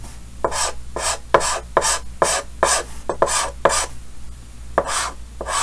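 Yellow chalk held in the fingers scratches hatching lines across a large, solid, flat painted chalkboard with a green frame. About eleven short, bright rasping strokes come at an uneven pace, each a quick scratchy burst over a faint steady low hum.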